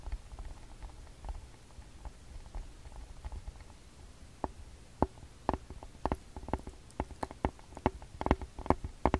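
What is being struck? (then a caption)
Plastic handheld audio recorder. Fingertips and nails tap and scratch the front body and screen area of a TASCAM DR-40X handheld recorder, a palm-sized hollow plastic body held in both hands. Quiet, low rustling scratches fill the first few seconds. From about four and a half seconds, sharp, dry, patter-like taps take over and come faster toward the end.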